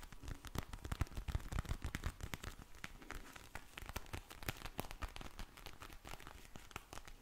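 A pink vinyl eye mask filled with gel beads is held close and squeezed and scratched with long blue nails. The result is a dense stream of crinkly, squishy crackles and sharp clicks over a low, soft rumble.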